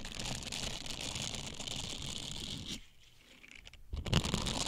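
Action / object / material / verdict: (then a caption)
scrape / silicone scrubbers / silicone / none. A pair of small blue silicone scrubbers with bristled surfaces and a hollow cup shape is flexed and rubbed against each other with the fingertips close to the mic. This makes a dense, steady crinkling and scraping texture with low thuds and a bright hiss. After a brief near-silent pause, the rubbing resumes louder with sharper crackles.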